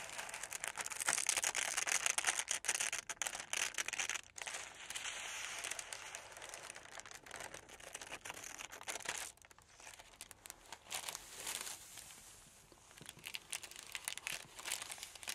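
A large thin sheet of green tissue paper, spread flat on a table, is cut lengthwise with metal scissors while the other hand lifts and handles the sheet. Bright, dense crinkling mixes with quick snipping, louder in the first half and then softer with intermittent rustles.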